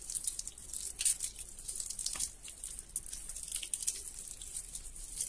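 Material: Soap.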